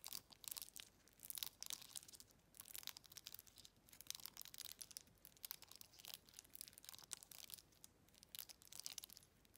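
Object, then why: Glass jar with metal lid. Long red acrylic nails quickly tap and scratch across an empty, hollow, hand-sized glass jar with a faceted textured body and a silver metal lid band. The result is a quiet, steady stream of bright, crisp clicks and rasping scrapes, with almost no low end and no ring after each touch.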